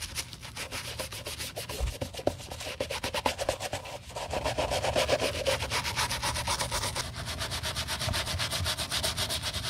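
A green plastic toothbrush in a gloved hand scrubs back and forth across the cream solid-rubber midsole of an empty navy canvas sneaker, with a little cleaning paste on the sole. Quick, steady strokes, about four per second, make a bright, rasping, brushy rub over a soft low rumble. The scrubbing grows slightly denser and louder in the second half.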